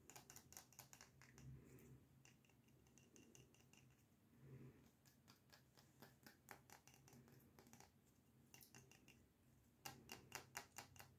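Fingers tap on a Star Wars themed "Galaxy Far Far Away" candle jar from Wish's Candle Company, with the lights turned off. A long run of quick, light, crisp taps and scratchy clicks rises and falls in clusters, each dying away almost instantly over a soft low hum.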